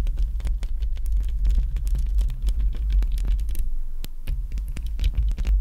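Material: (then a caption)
Metal. Long decorated acrylic nails tap and scratch on both sides of the hollow black metal mesh grille of a large handheld-style microphone, right up close. A rapid, continuous stream of deep, booming thumps and a throbbing low rumble is heard, with quick dry clicks and scratchy ticks flickering over the top.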